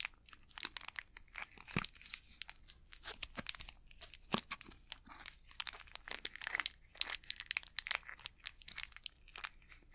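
Fingertips and nails crinkle and scratch the plastic wrapper of an unopened Snickers candy bar. The sound is a quiet, steady run of bright, crackly crinkles and short sharp scratches across ten seconds, with almost no low end.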